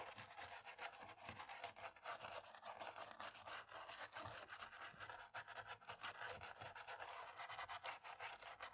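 A cotton-tipped stick rubs rapidly back and forth in the key gaps of a dirty black plastic laptop keyboard. It makes a quiet, continuous, bright scratchy rustle with dense, quick strokes and almost no low end.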